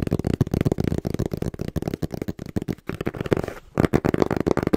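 A small, hollow brown cardboard box, held upright in both hands, is tapped quickly and rhythmically with the fingertips. It makes a stream of short, dull, hollow thuds with a low-mid body tone and almost no ring. A brief softer scraping lull comes just past the middle before the tapping picks up again.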